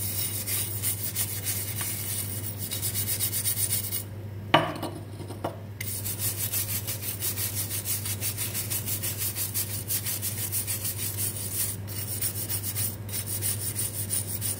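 A small, hollow, perforated stainless steel drain strainer basket, wet and soapy, is held in one hand and scrubbed with a dark plastic-handled bristle brush. Rapid, steady rasping strokes make a bright, hissy rubbing sound over a constant low hum. The scrubbing pauses briefly near the middle with a couple of light metallic clicks, then resumes at the same even pace.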